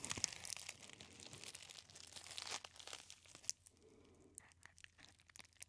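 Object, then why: Plastic bubble wrap roll. A hand-sized clear plastic bubble wrap cylinder with air-filled bubbles is held in both hands against the ear, squeezed and rubbed with the fingertips. For about three and a half seconds it makes dense, bright crinkling and crackling with sharp pops, then settles into quieter, scattered ticks and crackles.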